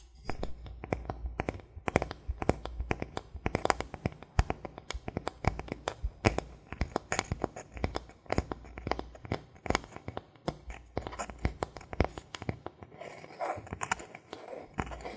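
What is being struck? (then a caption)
Thin bamboo board. A thin solid bamboo board, held level in both hands, is tapped and scratched across its front face with fingertips and nails. A fast, continuous run of short, dry clicks and taps is heard, with brief scratchy rustles mixed in and a steady low hum underneath. Each tap dies away almost at once.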